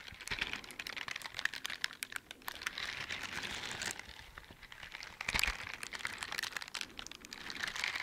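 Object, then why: Silicone scrubber gloves with bristle pads. A pair of teal silicone dishwashing gloves with bristle scrubber pads on the palms and fingers, worn on both hands, rub and scratch their bristles against each other close up. The result is a dense, bright, crinkly scratching made of many quick clicks and swishes. It swells and fades in uneven bursts over the clip, with almost no low end.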